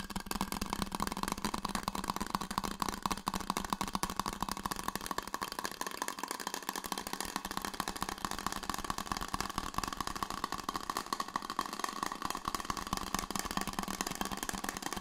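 A red insulated stainless steel water bottle, held in both hands, is scratched and tapped with the fingers for about 15 seconds. The result is a dense, steady run of quick scratchy taps, ringing with a faint metallic tone near 1 kHz over a bright, hissy texture.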